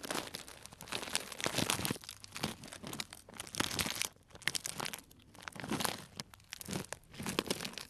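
A small tied, clear plastic cellophane bag full of dried tea pieces is crinkled and squeezed with fingertips. It makes crisp, bright crinkling and crunching in slow, uneven bursts separated by short quiet gaps.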